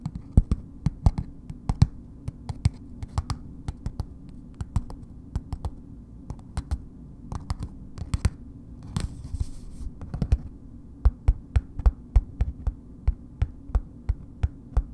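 Long nails tap slowly on a solid bar of soap in a red paper wrapper, making a steady series of short, dull, low thuds. Partway through, a brief papery rustle is heard before the tapping picks back up.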